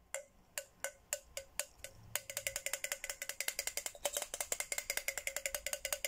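A red plastic straw taps a hollow white and pink Hello Kitty plastic tumbler, first in a few slow, spaced taps and then in a faster, steady run. Each tap is a short, bright click with a faint tone near 550 Hz, ending almost instantly with no ring.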